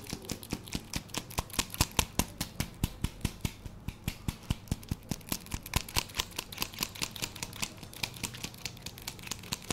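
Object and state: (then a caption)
Foam handle grips. Fingertips and nails scratch and tap the foam surface of two black, red-striped foam handle grips, hollow, cylindrical and about hand length, possibly jump rope or exerciser handles, held close to a fluffy microphone. Sharp, dry clicks come in a loose, uneven rhythm of roughly two to three per second, over soft scratchy rustling and a steady low hum.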